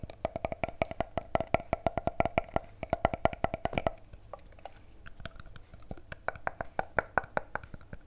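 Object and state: Plastic bottle tapped with fingertips and nails.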